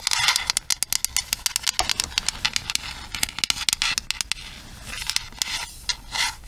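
Long nails tap and scratch the smooth plastic back and hollow handle of a pink plastic paddle hairbrush. Dozens of quick, sharp, bright clicks come in an uneven run with almost no ring. Softer scratchy scraping fills the gaps, and a brief rubbing swell closes the clip.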